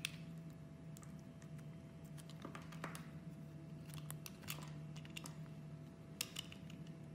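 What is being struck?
Molded bar of soap.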